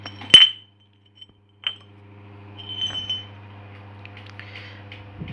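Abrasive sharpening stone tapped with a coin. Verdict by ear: Dense.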